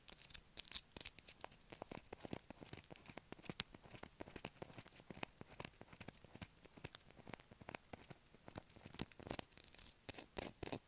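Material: Soap.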